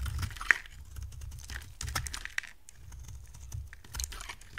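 A hand-sized, solid oval purple bar of dry soap with gold paint on the outside is held in one hand and shaved and scraped with a steel box-cutter blade. Soft, dry scraping and crisp little clicks and snaps come through over a low, steady rumble. Soap chips fall onto a pile of shavings.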